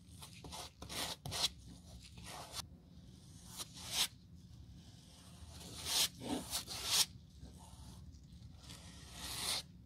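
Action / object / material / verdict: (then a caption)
scrape / rubber sole sheet scrubbed with a stiff brush / rubber / none. A gloved hand scrubs glue across a flat, textured black rubber/foam replacement sole sheet for a Birkenstock sandal, using a stiff-bristled brush on a white table. The result is a series of bright, scratchy brushing strokes over a faint low hum.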